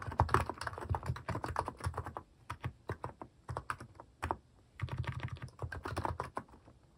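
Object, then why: Plastic mechanical keyboard keys. Fingertips type on a cream Hanmumu plastic mechanical keyboard fitted with plastic cat and paw keycaps. Quick bursts of clacky, deep-bodied keystrokes run in uneven flurries, broken by a couple of brief pauses, and each key snaps off short and dry.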